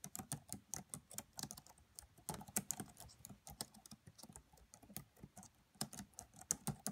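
Fingertips with long nails type on the black plastic keys of a red laptop, producing a steady run of quiet, crisp key taps. Each tap is a short, bright click with a soft low thump underneath and almost no ring.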